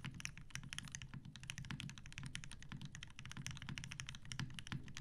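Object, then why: Mechanical keyboard with plastic keycaps and metal case. Fingertips of both hands type steadily on a TGR Jane V2 mechanical keyboard with 63.5g Tealios switches, cream and grey PBT plastic keycaps and a dark grey metal case resting on a desk mat. Rapid, overlapping keystrokes give a continuous stream of short clacks, with a deep thocky low body under bright, crisp clicking tops.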